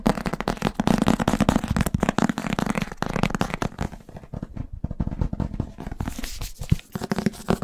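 A thick paperback book with a glossy paper cover, solid, is held in one hand and tapped and scratched fast with the fingertips and nails on the cover and spine. The result is a dense, rapid flurry of short, dull taps and scratchy brushing, weighted toward the low end with little high brightness. It thins and quiets briefly in the middle before the fast tapping picks up again.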